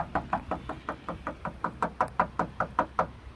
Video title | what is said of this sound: Lexus IS 250/350 product issues exposed | Has a very hollow sound to it.